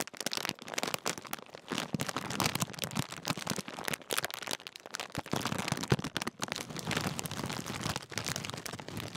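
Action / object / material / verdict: scrape / metallised plastic crisp packet / plastic film / none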